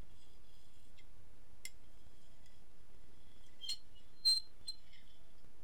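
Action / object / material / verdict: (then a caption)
tap / ceramic dinner plate tapped with a metal fork / ceramic / none. A metal fork scratches and taps the surface and rim of an empty, medium-sized white ceramic dinner plate, held upright on the lap in one hand. Faint scrapes give way to a few sharp, high, bright clinks that ring briefly over a quiet, low background hiss, with the loudest tap near the end.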